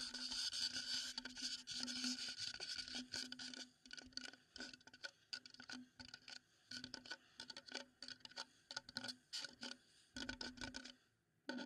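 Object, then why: Wooden bowl. A wooden bowl is tapped and scraped: a quick, uneven stream of light, dry taps and scratchy strokes. The sound is bright and high-pitched, with almost no low end and no ring after each tap, and it thins out into sparser taps toward the end.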